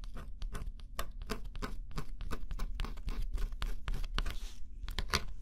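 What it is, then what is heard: Scratch-off cardboard jigsaw puzzle. A small metal stylus held in the fingers scratches the black scratch-off coating on a flat, solid cardboard jigsaw puzzle. Quick, dry scraping strokes come one after another in dense bursts, each with a bright, crackly edge and no ring. A steady low hum sits underneath throughout.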